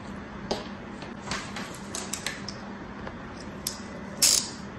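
A thin black tool held in the fingers scratches and scrapes the surface of flat, packed kinetic sand in a plastic tray stamped with round bear shapes. Bright, short gritty scrapes and ticks come in irregular bursts over a steady low hum, ending in a louder, longer hissing scrape.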